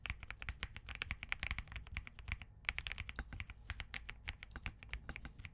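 Fingertips of both hands type continuously on a compact Spark67 mechanical keyboard with Crane switches, a POM case and plastic keycaps. A rapid stream of short, crisp clicks carries a bright top and a low thud beneath, with a brief pause midway. Each keystroke dies away almost instantly.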